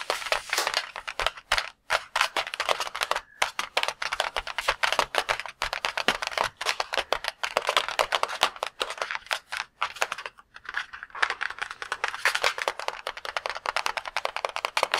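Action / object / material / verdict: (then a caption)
tap / latex balloon filled with water / latex rubber / none. A palm-sized red and cream latex balloon filled with water is held in both hands and tapped rapidly with the fingertips. The result is a dense, steady stream of crisp, bright clicks and soft pats centred in the upper mids, with no low rumble. Brief pauses break the tapping around the two-, three-and-a-half- and ten-and-a-half-second marks.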